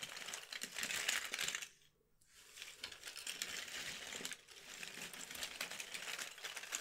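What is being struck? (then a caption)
Cardboard jigsaw puzzle pieces. Small, thin, solid cardboard jigsaw puzzle pieces are spread and dropped by fingertips and nails onto a heap on a red cloth. They clatter against each other in dense, bright, crisp clicks and rustles. The clatter is broken by a brief near-silent pause around the two-second mark before resuming steadily.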